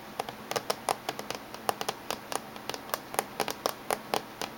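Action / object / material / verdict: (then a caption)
tap / closed laptop casing / unknown / none. Fingernails of both hands tap on the top surface of a closed silver laptop's casing. About two dozen short, dry, clicky taps land in an irregular rhythm, each dying away almost instantly. They have a hollow ring around 780 Hz and a bright top over a quiet background.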